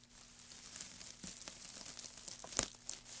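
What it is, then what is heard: Pile of wood shavings. Hands in white knit gloves scrunch and rub a loose heap of thin, curled, light wood shavings on a black mat. The result is a quiet, bright, dry crinkling rustle with crisp crackles, and two sharper snaps stand out near the end.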